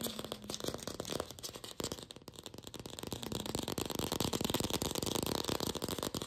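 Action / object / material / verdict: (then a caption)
tap / artificial apple, hollow plastic / plastic / none. Long pink fingernails fast-tap a glossy red artificial apple, likely hollow plastic. A rapid, dense stream of short, bright clicky taps with a hollow knock dips quieter around two seconds, then builds steadily louder to the end.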